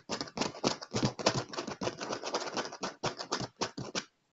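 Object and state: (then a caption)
Leather chair armrest, tapped. A hand rapidly taps a dark padded leather chair armrest with its fingertips and nails. The quick, uneven run of soft thuds carries bright clicking edges and stops after about four seconds.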